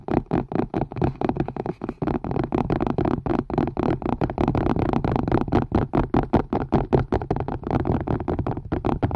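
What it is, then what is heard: Plastic and silicone collapsible strainer, tapped. A hollow, empty collapsible strainer of green silicone and white plastic, held upside down over a microphone, is tapped and scratched rapidly with fingertips and nails. The result is a fast, continuous run of dull, hollow thumps with a low body around 133 Hz and almost no bright content, each hit dying away quickly under a light scratchy texture.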